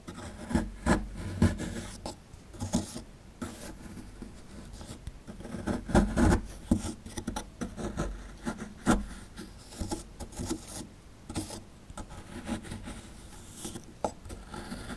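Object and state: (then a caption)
Plaster dig block being scraped. A dark plastic chisel rubs and scrapes the crumbly plaster of a solid plaster excavation block held in hand, working near the exposed tail. The sound is a close series of dull, low, raspy scrapes and soft knocks that die away almost at once, with a few louder scratches standing out from the steady grating.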